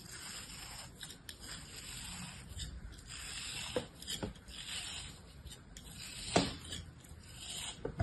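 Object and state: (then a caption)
Kinetic sand block being sliced. A molded block of beige kinetic sand, held in a palm, is sliced into strips with a small orange-handled blade. Soft, gritty scraping and rubbing fills the clip, broken by occasional sharper crisp cuts as the blade passes through the sand.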